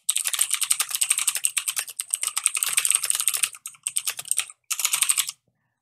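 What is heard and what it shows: Fingertips type a sentence on a full-size black mechanical keyboard with plastic keycaps and a hollow case, solidly mounted on a desk, with no noise cancellation applied. Rapid, bright key taps and clicks run for about five seconds, with brief pauses near the end. The clicks are sharp and dry, with almost no low end or ring.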